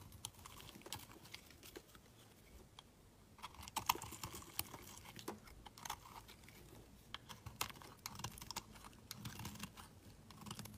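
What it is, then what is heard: Bar of soap being shaved with a blade. A solid cream-colored rectangular bar of soap is held in the hand while its edge is shaved and scraped with a utility knife blade. Quiet, dry, crisp scratches and crackly ticks come in quick irregular bursts with bright high content, with a slightly louder cluster of scrapes a few seconds in. Each stroke cuts off almost instantly with no ring, leaving a soft, close shaving texture.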